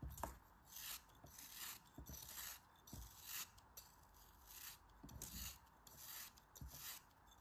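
A faceted, solid pink kinetic sand cone held in the fingers has slices shaved off it with a utility knife blade. The result is a series of soft, crumbly scraping strokes with bright, hissy texture, each stroke ending in a short low thud as the crumbs fall away.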